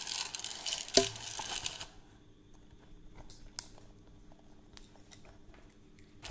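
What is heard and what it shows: A plastic hollow measuring tape reel, its tape hanging down, is wound by the crank with the fingers and its case is handled. The first two seconds are a dense, bright scratchy rustle with a sharp click near one second. Quieter scattered ratchet clicks and light taps follow, including a distinct sharp click around three and a half seconds.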